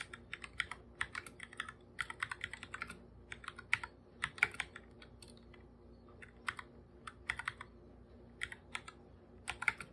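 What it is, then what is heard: Plastic computer keyboard being typed on. A full-size black computer keyboard with plastic keycaps is typed on with bare fingertips, its hollow body giving each tap a light, bright click. The keystrokes come in quick irregular bursts separated by short pauses, each one dying away almost instantly over a faint steady background hiss.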